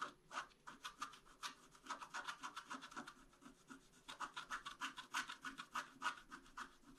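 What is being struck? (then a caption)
Black-coated scratch-art card scratched with a wooden stylus. A wooden stylus scratches a flat, black-coated scratch-art card held in one hand. About 30 short, dry, raspy strokes come in an uneven rhythm of roughly three per second. Each has a bright, papery hiss with little low end.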